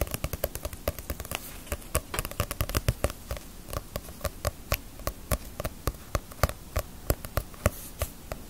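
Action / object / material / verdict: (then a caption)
tap / paperback book with glossy paper cover / paper / none. Fingertips and nails tap the glossy paper cover of a small paperback Bleach manga held in the hands, partly hidden behind the microphone. Around 39 quick, dry taps with almost no ring come at an uneven pace, each with a soft low thump and a light click over a quiet background hiss.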